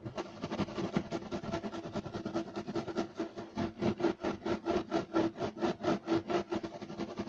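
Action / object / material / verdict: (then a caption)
scrape / woven loop-pile carpet / carpet fibre / none. Both hands scratch rapidly with short nails and fingertips across a flat beige striped woven loop-pile carpet on a solid surface. The result is a dry, raspy, rhythmic scratching with quick repeated bursts that grow more pronounced as it goes on.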